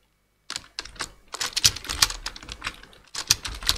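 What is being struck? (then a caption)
Plastic computer keyboard. Two-handed fingertip typing on a black plastic full-size computer keyboard, with quick, bright, dry key taps in irregular bursts. Short clicks follow silence at the start, build into a denser run of typing, pause briefly, then resume.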